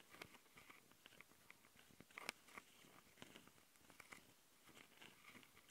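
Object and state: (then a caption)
Scratching on a handheld recorder's metal mesh microphone grilles. Long nails on both hands scratch the metal mesh grilles of a Tascam handheld recorder's microphone capsules, which sit on a plastic body. The result is a fast, crunchy pattern of quiet, bright scratches and clicks. Each one stops almost instantly, with sharp peaks around 2.3 kHz.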